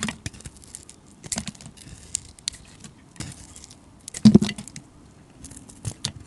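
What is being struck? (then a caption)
Bar of soap shaved with a metal blade. A hand-sized solid bar of soap with a grey, blue-glitter coating and a white core is held in the hand and shaved and scraped with a metal utility blade. Short, crisp scraping strokes give a bright, papery rasp, with a louder burst of cutting around the middle of the clip.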